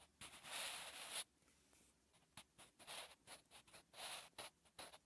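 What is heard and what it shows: A sharpened graphite pencil scratches and rubs across a lined notebook page while writing, making a dry, bright, papery hiss. A long stroke at the start is followed by a quiet pause, then a run of short, scratchy strokes.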